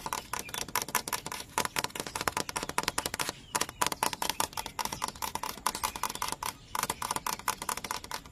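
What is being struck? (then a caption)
Large dry bamboo culm. Fingertips and nails tap fast on a large, hollow, dry yellow bamboo culm standing in a growing clump. Rapid, uneven clusters of dry, bright clicks each carry a short hollow tone near 1 kHz and die away almost instantly. They run continuously, with brief lulls near 3.5 and 6.7 seconds.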